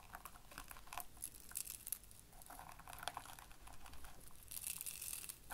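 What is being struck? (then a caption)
Ring of soft-plastic burr balls rubbed on felt. Fingertips of both hands press and rub a ring of small, hollow, spiky yellow soft-plastic Bunchems burr balls into a grey felt-like board. The result is quiet, dense, velcro-like crackling and crunching with many quick, bright clicks and no ring-out.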